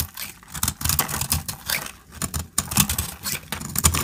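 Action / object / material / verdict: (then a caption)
scrape / bar of soap cut with a metal blade / soap / none. A metal utility-knife blade scrapes and cuts a solid, dried orange soap bar held in the hand, shaving it into flakes. Dry, crackly scraping strokes come in irregular bursts, with bright brittle crunching over soft low thuds.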